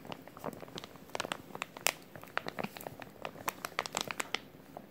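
A small clear plastic resealable zip-lock bag with a green tab is held flat in both hands while the fingertips crinkle and flex it. A quick series of short, bright crackles and crinkles rises over a quiet hiss, with very little low end.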